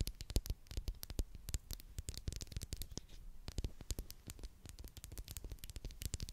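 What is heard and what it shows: A small, hollow purple Pritt plastic glue stick, held horizontally in both hands, is rapidly tapped and scratched with long glittery acrylic nails close to the mic. The result is a quiet, fast patter of dry, sharp clicks with a strong low thump under each tap and bright scratchy ticks on top, each one dying away almost instantly.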